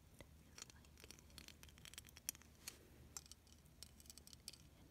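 Long, silver-painted nails tap and scratch across the bumpy beads of a flat, hand-sized, clear plastic beaded snowflake ornament, which is solid rather than hollow and held in one hand. The result is a quiet stream of sharp, bright clicks and scratchy ticks that die away almost instantly over a faint low hum.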